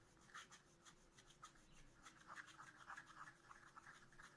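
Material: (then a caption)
Coated paper. A wooden stylus scratches lines into the pot area of a black-coated scratch art paper sheet in a spiral notebook. It makes quiet, quick, irregular dry scraping strokes with a bright, papery edge, over a faint steady low hum.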